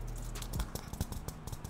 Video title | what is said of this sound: DO NOT BUY The Apple Magic Keyboard (Get This Instead) 😡🤦🏾‍♂️ | a lot more hollowed out. A lot more shaky buttons in on this thing